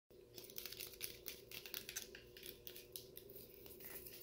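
Fingertips tap and scratch the wall of a clear, frosted, medium-size plastic fast-food cup held in one hand and full of brown frozen cola slush. The result is a quiet, continuous run of bright, crinkly scratches and light taps, with a faint steady hum underneath.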